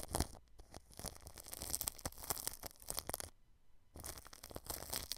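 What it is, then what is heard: Cling film brushed over a microphone. A paintbrush brushes across clear plastic cling film wrapped over the grille of a white microphone. It makes dense, close crinkling and crackling scratches with bright, high hiss and some low rumble. The brushing pauses briefly for a near-silent moment before resuming.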